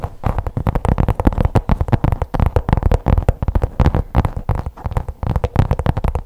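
Long pink acrylic nails tap and scratch the surface of a black faux leather folder-like pouch held upright. The result is a dense run of quick, dull, muffled taps and scratchy rubs with deep low thumps and almost no high brightness, each hit dying away at once.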